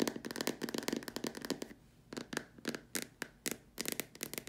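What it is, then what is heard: Plastic lamp shade. Long nails tap on the sides of a large, empty, white hollow plastic dome lamp shade, then on its far top edge, with the hands partly hidden behind it. A rapid run of dry, crisp ticks with a faint hollow tone is followed by sparser, separate taps after a short pause. Each tap dies away almost at once.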